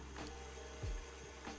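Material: Nothing is struck.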